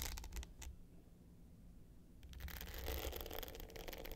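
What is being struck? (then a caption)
Hard-case clutch with glitter surface and metal frame. Long pointed nails scratch the dark blue glitter top of a small rectangular hollow hard clutch with a gold metal frame, lying flat. Short, bright, gritty scrapes come first, then a quieter stretch with a low hum, and from about two seconds on the scratching turns denser, louder and rougher until the end.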